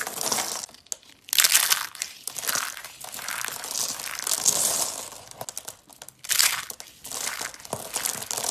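Yellow and dark brown hollow dry soap curls are crushed in the fingers and hands into flakes. The result is bursts of dry, bright crunching and crinkling with sharp crackles, no low end, and short quiet gaps between squeezes.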